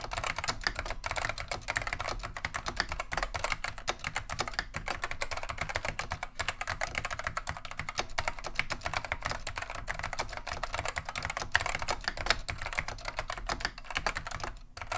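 Continuous two-handed fingertip typing on a beige plastic vintage Wang 725 mechanical keyboard with Alps SKCM Neon Green/Lime switches. Rapid, steady keystrokes give bright, sharp clacks over a low thud, each decaying almost instantly. The typing runs without a break throughout.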